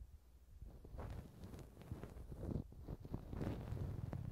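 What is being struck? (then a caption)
Silicone ear of a binaural microphone scraped with a wooden earpick. A thin wooden earpick scratches and scrapes inside the hollow canal of the right soft, skin-toned silicone ear of a TASCAM binaural microphone. The result is close, muffled low rustling and scraping with irregular soft scratch bursts that grow slightly louder over the clip.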